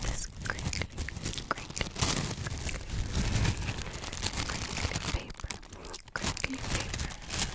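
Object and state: Tissue paper sheet being crinkled.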